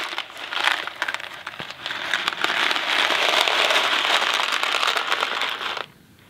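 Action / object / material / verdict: shake / thin cardboard box filled with dry pasta / cardboard, pasta / none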